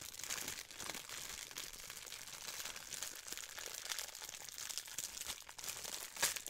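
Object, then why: Thin clear plastic wrapper. A small piece of thin clear plastic wrapper is held between fingertips and crinkled and crushed with long white nails. The result is a continuous, bright crackling texture with almost no low end and a sharper, louder crunch near the end.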